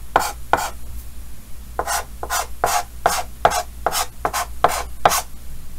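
Fingertips hold a yellow chalk stick and scratch short hatching strokes onto a large, flat, dark green chalkboard with a solid surface in a green wooden frame while drawing. A quick, uneven series of short, dry, raspy bursts, centered in the midrange around 700 Hz with a bright hiss on top, each stroke ending almost instantly.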